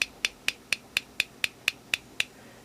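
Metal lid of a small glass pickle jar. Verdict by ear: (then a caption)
Tinny. Ten quick taps on the metal lid of a small glass pickle jar, each a sharp, bright, tinny click that dies almost instantly. The thin, tinny sound signals a problem with the lid, the same fault found on a larger jar.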